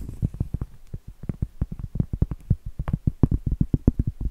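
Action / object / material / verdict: tap / cork trivet board / cork / none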